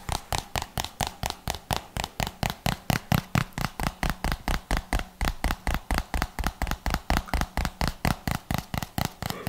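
A hollow white plastic jar with a red label is tapped with the fingertips in a steady, fast run of about 41 short, dry taps. Each tap gives a brief, low thump with a faint hollow knock near 1.2 kHz and almost no ring.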